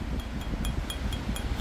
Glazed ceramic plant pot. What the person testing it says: 고운 소리가 안 나요. 저온 소리가 나죠. 약간 둥탁한 소리가 들 거예요.